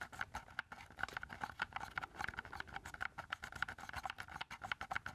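Fingertips tap rapidly on the casing and keys of a hollow black plastic keypad game controller with a knob, held up in both hands. The result is a dense stream of light, dry plastic clicks and patters with a hollow mid-range tone around 1.4 kHz and almost no ring.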